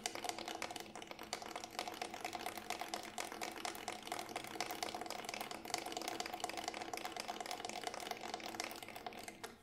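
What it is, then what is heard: Synthetic frame drum shell. Fingertips tap quickly along the side of a Remo Buffalo frame drum, a large hollow round drum with a grey textured synthetic shell held in both hands. The result is a steady stream of rapid, crisp, dry clicks with a faint tonal ring around 720 Hz and almost no low end. The tapping fades out at the very end.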